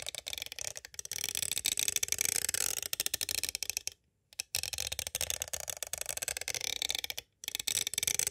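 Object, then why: Hard plastic cassette tape case. A green striped pointed tool traces and taps the cover of a palm-sized, hollow, clear hard plastic cassette tape case with a printed paper insert. Dense, bright, dry clicks and scratchy ticks run almost continuously, with nearly no low end and no ring. Two brief silences break the sound just before the midpoint and near the end.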